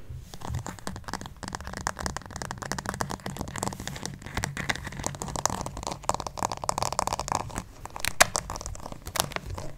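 Fingernails scratch and tap the smooth printed surface of a white plastic acupuncture doll's head, held close to the mic. A steady stream of dense, dry clicks and crinkly scratching runs throughout, with a midrange body and bright edges over a low rumble. Occasional sharper taps stand out near the end, and each sound dies away almost instantly.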